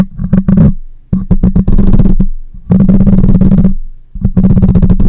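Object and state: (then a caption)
Metal mesh microphone grille being scratched. Long nails scratch across the metal mesh grille of a black microphone, producing loud, rasping bursts of close, gritty scraping with a heavy low hum. Bright crackles ride on top, and brief quiet gaps fall between the strokes.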